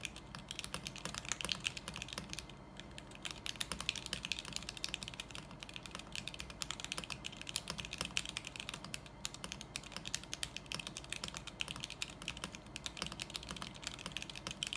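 Both hands type continuously with their fingertips on a small 40% mechanical keyboard with beige plastic keycaps, housed in a lit clear acrylic case and rebuilt with a stainless steel plate. A rapid, steady stream of short, bright clacks fills the clip, each click dying away almost instantly, with a faint low hum underneath.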